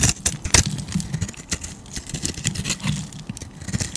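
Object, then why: Bar of soap cut with a blade. A utility knife blade scrapes and carves thick curls off a solid oval tan bar of soap held in a hand with teal nails. The clip is a run of crisp, bright shaving strokes over a low, dull rumble, with sharper bursts near the start and a steady scraping texture throughout.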